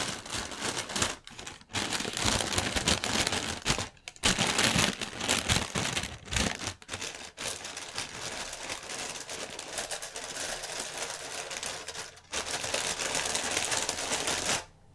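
Fingertips and nails tap and crinkle the film of a clear, inflated plastic air-cushion packaging strip. The result is dense, bright crackling and crinkling with quick taps, broken by a few short pauses, and it stops abruptly near the end.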